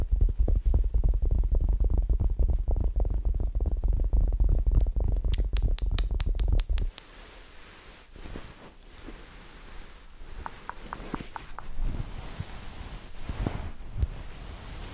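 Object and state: Fabric plush pillow being scratched.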